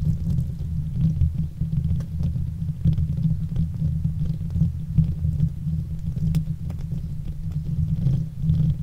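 Long fake nails scratch the hollow, domed metal wire-mesh grille of a silver Blue Yeti USB microphone, with both hands gripping the grille. The result is a continuous, deep, throbbing rumble centered around 160 Hz, dotted with faint crisp scratches and small clicks throughout.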